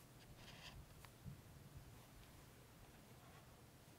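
A thick green chisel-tip highlighter makes long strokes over printed words on an open softcover paperback book with thin paper pages, lying on a table. The felt tip rubs across the paper in quiet, soft, scratchy swishes, with a few brighter streaks early on over a low, steady background hum.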